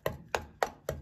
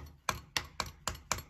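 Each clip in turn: First: hollow-sounding plaster wall corner. Second: solid plaster wall.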